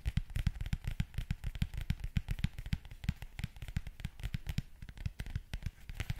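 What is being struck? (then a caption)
Leather zip wallet. Fingernails scratch and tap the leather face of a closed black leather zip wallet held in hand. A fast, steady run of short, dry taps with dull low thumps and faint bright crackly scratching between them.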